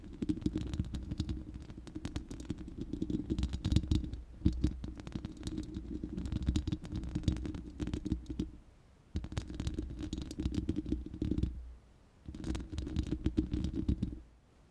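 Long nails scratch across the bare, hollow, round steel mesh grille of a studio microphone. The result is a dense, rapid scraping texture dominated by a deep, boomy low rumble with faint high crackle. It comes in three bursts, the first long and the last two shorter, separated by brief pauses.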